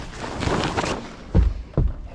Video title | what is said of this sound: FREE 1960's Boat with 90hp Evinrude WILL IT RUN? | what I'm trying to say is these floors are sturdy